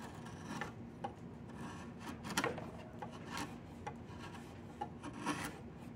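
A chisel with a yellow wooden handle carves and scrapes the knotted surface of a solid diamond willow walking stick. Steady rasping and rubbing is heard, broken by irregular sharper scrapes and brief bright cuts against a low, constant background.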